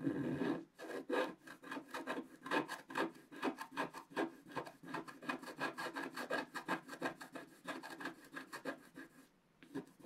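A wooden stylus scratches the black coating in the lower right area of a wax-coated scratch-art paper page, which lies on a table held by the left hand. A rapid series of short, dry scraping strokes rises and falls in loudness, with brief pauses near the start and the end.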